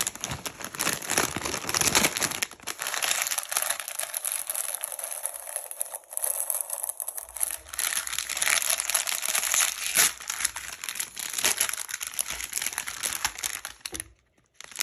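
A medium Doritos bag made of foil-lined plastic film, hollow and partly full of chips, is held and crinkled by fingers as it is opened to show its silvery inside. The sound is dense, bright crinkling and crackling, with sharper crunching bursts near 2 and 10 seconds. It drops to near silence just before the end.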